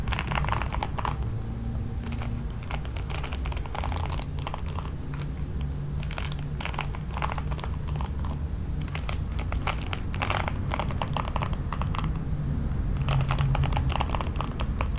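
Long pink nails strum and scratch across the ball-tipped nylon bristles of a hand-sized red plastic oval paddle hairbrush with a black cushioned pad, held in one hand. Rapid, uneven bursts of dry, bright crackling and scratchy clicks come over a steady low rumble, with the level staying fairly even throughout.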